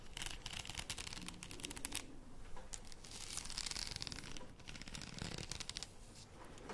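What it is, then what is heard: Plastic faux pearl beads on a padded headband, scratched. Long painted nails scratch along a wide padded headband covered in small plastic faux pearl beads, its hollow, empty arch held in both hands close to the mic. The result is a dense, continuous stream of bright, crisp clicking and rustling ticks over a soft low rumble, with brief swells of quicker scratching.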